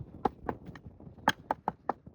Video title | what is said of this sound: 💎 The Hidden Gem That Sold Before We Even Advertised It! - Lynch Lane Life | You can hear the knock on the plastic.